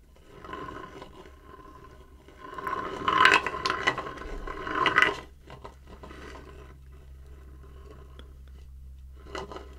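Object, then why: Light wooden bowl. Fingertips tap and scratch the outer side wall of a shallow, empty light-wood bowl held horizontally. Soft, dry scraping and tapping over a faint steady low hum builds into louder, rough bursts in the middle. It then fades to quiet rubbing, ending with one brief tap near the end.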